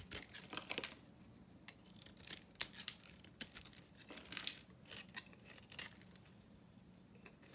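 A hand-held dry bar of solid soap, its blue coat painted pink, is scraped and shaved with a metal knife blade as flakes fall away. The result is a quiet run of crisp, bright scraping strokes with a tearing, crinkly texture. Short sharp clicks stand out near 2.6 and 5.8 seconds.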